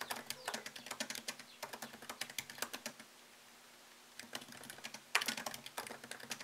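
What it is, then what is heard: Laptop keyboard, typing. Fingertips tap fast on a MacBook Pro laptop keyboard with plastic keycaps set in an aluminium body, making quick, bright, crisp clicks with no ring. The typing pauses for about a second partway through, leaving only a faint low hum, then resumes with a sharper burst of keystrokes.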